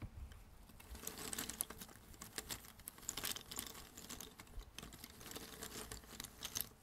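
Fingertips rummage and shuffle loose, thin cardboard jigsaw puzzle pieces on a red table. The result is a quiet, continuous patter of dense, bright little clicks and scrapes with very short decay, rising and falling in small bursts throughout.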